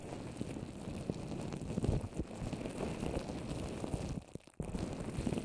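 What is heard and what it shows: Long orange nails tap and scratch a wet, fist-sized paper mache dome shell over a plastic-wrapped microphone. The result is a dense, muffled, low-heavy crackle of scraping and soft thumps with almost no bright content. It drops to near silence for a moment just before the end, then resumes.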